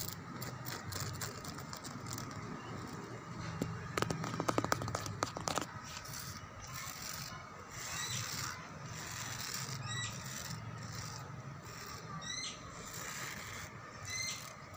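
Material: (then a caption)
Concrete. Long dark-painted nails scratch and lightly tap a solid whitewashed concrete pillar of an outdoor lattice wall, its surface rough and peeling. A steady bright scraping texture runs throughout, with a cluster of sharp, quick taps around the fourth to sixth second. Faint chirping tones come and go over a low background rumble.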